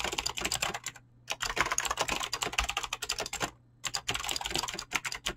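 Fingertips with short painted nails type fast on a full-size mechanical keyboard with Razer green clicky switches and pink-blue PBT plastic keycaps, resting on a desk. Rapid, bright, crisp clicks come in dense bursts with very short decay, broken by two brief pauses before the typing resumes.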